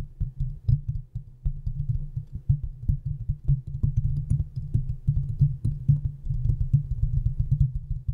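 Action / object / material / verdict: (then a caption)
tap / steel mesh microphone grille / steel mesh / none. Long painted nails scratch and tap around the hollow, domed steel mesh grille of a large desktop USB microphone. A dense, continuous run of soft scratching and quick tapping comes through as deep, boomy thuds over a low, steady rumble, with almost nothing bright above it.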